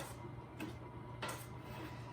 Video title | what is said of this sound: Kaiser Rolls | So you know they're done. Sound hollow when you tap them.